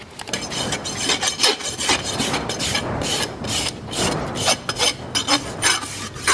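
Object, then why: Keratin horse hoof rasped with a steel file. A long steel rasp, held in both hands, files the solid keratin wall of a shod horse hoof resting on a stand. Repeated, uneven scraping strokes give a bright, gritty hiss with little low end. Each stroke ends quickly and the next begins.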